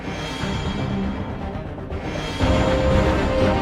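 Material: Nothing is struck.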